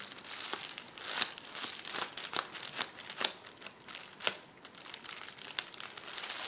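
Fingertips tap, press and scratch the bubbles of a rolled clear plastic bubble wrap lying on a table. The result is a steady bright crinkling and scratching with many sharp, dry ticks and almost no low end.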